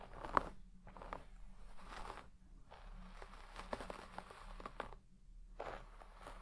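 A wooden hairbrush with wooden pins is dragged through the deep pile of a large red shaggy textile carpet, brushing and scratching the fibres. Quiet, crunchy scratching strokes come in bursts separated by brief silent pauses, with a few sharper crackles among them.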